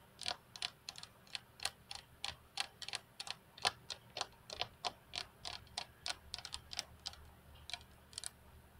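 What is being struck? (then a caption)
Glass desk top tapped with fingernails. Long fingernails of both hands tap the flat, solid glass tabletop of a computer desk, giving about 28 quick, bright clicks with almost no ring. The taps come in an uneven, tick-like rhythm, some close together and some spaced out, over a faint low hum.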